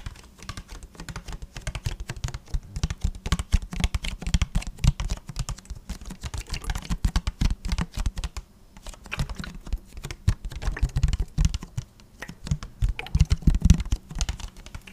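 Fingertips tap and squeeze the thin walls of an empty, hollow, clear plastic water bottle with a blue cap. The result is a quick, steady run of soft, dull, low-pitched taps and muffled plastic flexing that die away almost at once, with brief lulls around 8.5 and 12 seconds.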